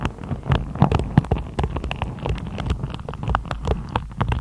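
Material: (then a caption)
Plastic. A hand-sized hairbrush with dense black-and-white plastic bristles on a wooden body is held up close while long acrylic nails run over and tap the bristle tips. The result is a rapid, scratchy patter of many short, dry ticks over a low, muffled rumble, with bright clicky edges on the sharper taps.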